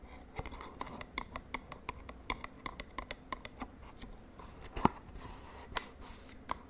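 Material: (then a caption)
Cardboard. Long nails tap and scratch the edges and face of a small, hollow purple-and-white cardboard cosmetic box held over a bedsheet. A steady series of short, dry, hollow taps rings briefly in the midrange, with soft scratching between them. One sharper, louder tap lands near the end.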